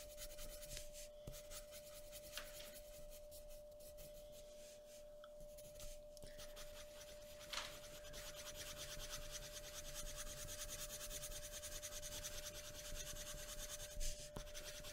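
A hand shades a thin, flat sheet of white drawing paper lying on a wooden table with the tip of a graphite pencil. Soft, continuous scratchy rubbing strokes hiss across the bright high range, joined by a faint steady tone throughout. A few slightly sharper strokes stand out near the middle and the end.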